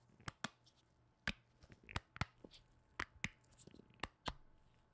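A hollow white plastic lotion bottle with a blue cap and a plant print is tapped and knocked with black-gloved fingertips. About ten short, dry, quiet knocks land at uneven intervals, each with a low body thump and a bright clicky edge that dies away almost instantly. Faint softer taps and rustles fill the gaps.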